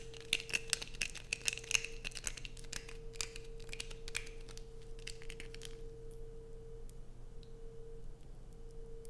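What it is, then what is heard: Bar of soap being scraped. Long nails scrape and peel curls from a light-blue bar of soap held in both hands, making rapid, crinkly tearing scratches with bright, sharp clicks. The scratching is dense for the first few seconds, then fades to softer rustles, over a steady tone near 480 Hz and a low hum.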